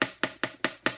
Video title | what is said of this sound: Aklot double-neck bass/tenor ukulele unboxing and first impressions. This is a nice instrument! | i can hear it kind of tapping against the back